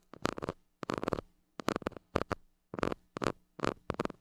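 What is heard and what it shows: A white plastic stick scratches and pokes the hollow metal mesh grille of a small handheld gold mini microphone held in hand. Seven short bursts of close, crackly scraping and tapping are separated by brief silences, with a faint steady low hum underneath.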